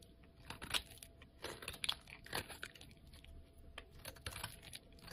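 A utility knife blade shaves curls and flakes off a solid, cream-colored bar of soap held in the hand. Quiet, crisp scraping and crunching strokes come in irregular bursts, mostly bright and airy with little low end. Each stroke stops short with almost no ring.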